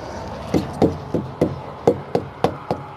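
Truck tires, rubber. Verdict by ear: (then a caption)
Full. A heavy custom wooden tire thumper made of maple and walnut with a one-inch steel rod through it strikes a row of rubber truck drive tires eight times in quick succession. Each whack is a short, dull thud with a low-mid tone that dies away almost immediately. All the thumps sound the same, with none hollow, indicating properly inflated tires.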